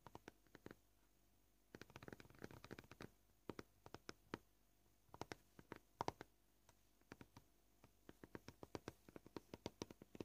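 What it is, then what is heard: Plastic cutting board. Fingernails tap rapidly with both hands on a solid white plastic cutting board. Quiet, sharp, dry clicks come in uneven bursts with short pauses, the pace shifting between quick flurries and sparser taps.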